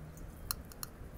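A copper bracelet is tapped, giving a few short, light clicks with bright high-frequency ticks over a low background rumble. The clicks sound thin and plastic-like, though the bracelet is copper.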